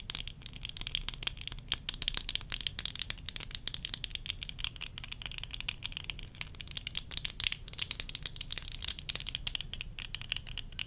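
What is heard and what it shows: Long nails tap rapidly and steadily across worn tortoiseshell plastic eyeglass frames with lenses. The result is a dense stream of short, dry, bright clicks with almost no ring, over a faint low rumble.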